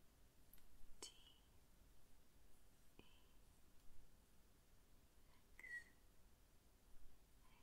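Fingernails tap the letters and frame of a flat, openwork cast iron trivet shaped like Texas and reading TEXAS, made of dark, solid metal. Four quiet, sharp clicks come at uneven intervals, some with a brief metallic ping around 2 to 3 kHz that fades almost at once, over a low, soft background hiss.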